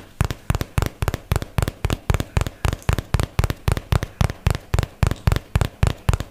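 A hollow white and teal paperboard product box is held up and tapped with fingertips and nails. About 26 quick, dry taps land at a steady pace of roughly two per second, each a short, hollow low thump with a bright click on top. The taps die away almost instantly.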